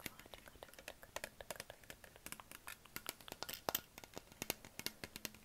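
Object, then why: Plastic water bottle. A hollow green Perrier PET plastic bottle is tapped and scratched with fingertips and nails on its body and neck. Several dozen quiet, crisp, bright clicks and scrapes follow quickly one after another. Each stops almost at once with no ring.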